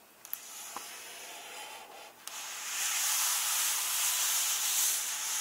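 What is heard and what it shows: Flat hands slowly rub across the paper pages of an open hardcover book, staying on the same text spread. A soft, bright papery hiss is heard with two faint taps early on. After about two and a half seconds, the rubbing grows louder and holds steady to the end.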